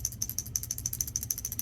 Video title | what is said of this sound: 2021 Forrest River Riverstone Legacy 42FSKG DC Electrical | it's the one that's rattles whenever you shake it